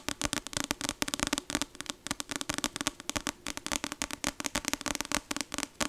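Long acrylic nails tap rapidly on the glossy card front cover of a paperback novel, "Icebreaker," with a solid paper block, held up in one hand. The taps come as a fast, irregular stream of sharp, bright clicks with a hollow body tone and almost no ring between them.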